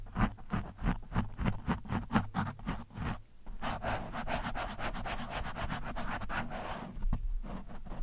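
The thin steel shaft of a screwdriver scratches and pokes an orange foam windscreen on a microphone, the soft, porous foam giving a muffled, low-heavy rubbing sound. Regular back-and-forth strokes in the first few seconds give way to a denser, continuous scratching, and a few sharper pokes come near the end.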